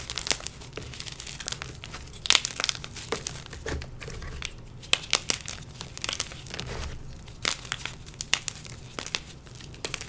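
Two bare hands squeeze, crush and rub a broken block of dyed gym chalk, purple and pink inside and white outside, into a bowl of loose white chalk powder. The solid, brittle chunks give off bright, dry crunching and crinkly crumbling, with a steady gritty rustle under sharper snaps. Two intact white chalk blocks sit unused nearby.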